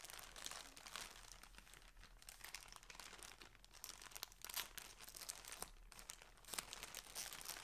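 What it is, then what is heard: Plastic clothing bag. Fingertips and nails crinkle, rub and handle the edges of a thin, flat, transparent plastic poly bag that holds a folded striped shirt and lies on a table. The result is a steady, bright, dry crinkling with scattered sharp crackles and brief louder snaps that stop with almost no ring.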